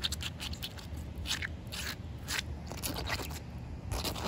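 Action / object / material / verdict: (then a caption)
scrape / concrete slab scratched with fingernails / concrete / none. Short painted nails scratch and rub across a large, solid outdoor concrete slab that is wet and coated with pale residue. The result is a steady series of bright, gritty scraping strokes over a low, constant rumble, with each stroke dying away almost at once.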